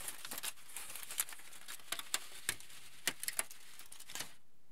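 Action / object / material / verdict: scrape / crumpled aluminium foil sheet / aluminium foil / none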